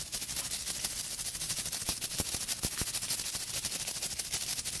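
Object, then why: Round wooden brush with natural bristles. Long pink acrylic nails scratch and flick quickly across the dense tuft of short natural bristles on a small round brush with a solid light wooden base, held in one hand. The result is a steady, bright, crackling hiss with little low end, broken by sharper flicks at a fast, uneven pace of about three per second.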